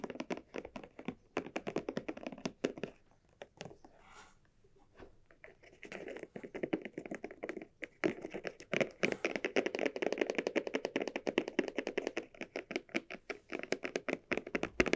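Long nails tap rapidly on the body of a small, hollow, red croc-embossed leather cylinder bag, first while it lies on a mat and then while it is held. The dense, dry, hollow taps have a mid-pitched knock and almost no ring, with a brief quieter stretch of soft scratching before the tapping picks up again.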